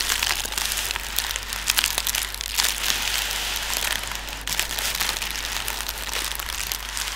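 Fingertips tap and press on clear, inflated, hollow plastic air pillows used as packing material. The result is a steady, bright crinkling and crackling texture made of many quick, dry taps, with a faint low hum underneath.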